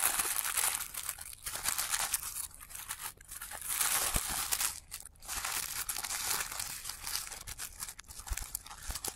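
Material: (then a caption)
Tissue paper. Fingertips of both hands rub and crumple the petal layers of a thin blue tissue paper pom-pom flower, played in reverse. The result is a continuous, bright crinkling and rustling with brief soft dips and small crackling bursts, mostly high-pitched with little low end.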